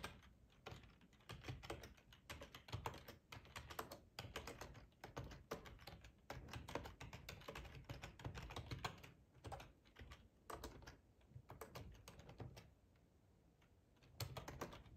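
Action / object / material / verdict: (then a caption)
tap / plastic computer keyboard / plastic / none. Fingertips type on a hollow black plastic ergonomic computer keyboard with keycaps, tapping the keys in a fast, steady stream of short clicks. Each tap has a dull, hollow thud low in the body and a crisp, quickly fading click on top. The typing briefly stops near the end, then picks back up.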